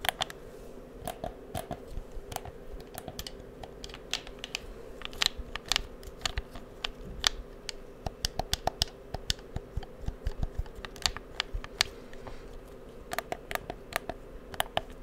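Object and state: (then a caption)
Plastic game controller, buttons and shell tapped. A hollow, black plastic PS4 game controller is held in both hands near the microphone while fingertips press its buttons and tap its shell. About forty quick, dry clicks and taps follow one another irregularly over fifteen seconds, each with a bright plastic snap around 3.5 kHz that dies away almost instantly. A faint steady low hum sits underneath.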